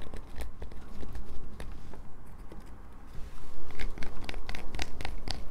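A solid light-blue bar of soap is scratched with long nails, leaving shavings on a paper towel. Dry, crinkly scraping strokes come in quick, uneven bursts with bright crackle over a low rumble. They soften briefly in the middle, then return louder and crunchier toward the end.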